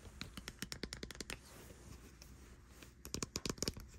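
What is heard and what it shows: Long white nails tap and click the rubber buttons and casing of a white plastic air conditioner remote control with an LCD screen, lying on a bed sheet. Quick, sharp, bright clicks come in a fast run, then a quieter scratchy stretch follows before a second burst of crisp taps. Each click stops almost instantly with no ring.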